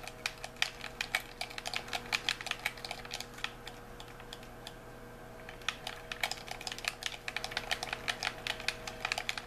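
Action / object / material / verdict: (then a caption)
tap / plastic game controller / plastic / none. A white, hollow plastic handheld game controller is held in both hands while thumbs and fingertips rapidly press and click its buttons and sticks. The result is a fast run of sharp, bright plastic clicks with almost no ring, pausing briefly about midway before resuming, over a faint steady hum.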